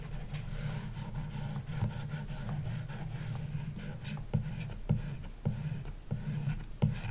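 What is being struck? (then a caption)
Plastic stylus on glass tablet screen with matte protector. A plastic stylus tip held by a hand with long dark nails draws strokes across a large iPad glass touchscreen, likely fitted with a paper-like matte film, lying flat on a wooden desk. The sound is a continuous low scratching and rubbing, punctuated by soft, dull taps and brief bright rasps as strokes start and stop.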